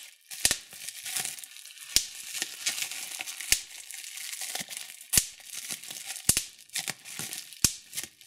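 Fingertips and thumbnails pinch clear plastic bubble wrap, popping the bubbles. Sharp, bright pops sound at irregular intervals over a continuous high crinkling of the plastic, with little low end and almost no ring after each pop.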